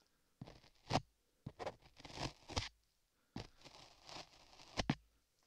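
A metal tool scrapes and carves solid beige modeling clay on a microphone ear while a gloved hand holds the edge. The clip is a series of close, gritty scraping and crunching strokes with soft rustling between them, separated by short quiet gaps.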